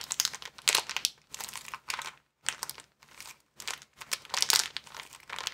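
A small, empty white plastic bag is bunched in both hands while the fingers squeeze and crinkle it. Bright, crackly crinkling comes in irregular bursts separated by brief near-silent pauses, with almost no low end.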